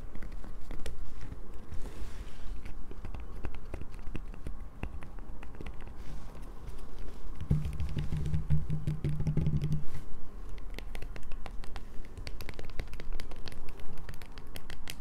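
A solid light-blue bar of soap is scratched with long nails, partly resting on a table and partly held in the hand. Dense, crackly scratching and quick ticking clicks run through the whole clip over a low rumble, with a steady low hum joining from about 7.5 to 10 seconds.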